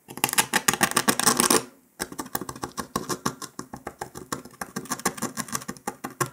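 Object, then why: Brittle sugar candy disc scratched with a metal needle. A metal needle scratches and picks along the cut line of a brittle brown dalgona honeycomb sugar candy disc resting on paper. A dense burst of bright, crackly scratching is followed by a brief silence, then a steady run of quick, dry picking ticks about three or four per second.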